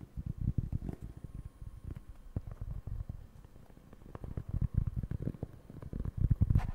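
Fingertips scratch and tap the surface of a round, flat, solid cork board held in both hands. The result is a dense run of soft, dull, low thumps and rustling scratches in uneven bursts, with a quieter stretch in the middle and a brief brighter scrape near the end.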